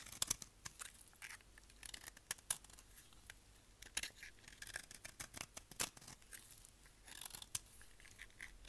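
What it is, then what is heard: Dry soap bar scraped with a knife. A solid, tan, dry bar of soap, held in the hand, is scraped with a utility knife blade. The result is a quiet, dense run of short, bright, crisp scraping and crunching sounds with almost no low end, bunched into brief bursts across the clip.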